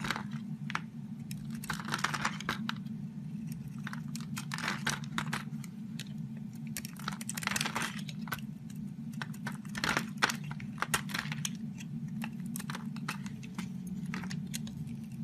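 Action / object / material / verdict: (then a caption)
scrape / bar of soap / soap / none. A metal utility-knife blade scrapes and shaves curls off an oval, solid purple bar of soap with embossed lettering, held in the hand. Many short, dry, crisp scraping and crunching strokes come in quick bursts, bright in tone, over a steady low hum.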